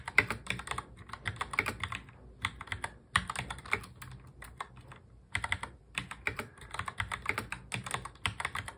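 Fingertips of both hands touch-type fast on a full-size black plastic mechanical keyboard. Rapid bright clacking keystrokes come in quick bursts separated by brief pauses, each click short and dry with little low end.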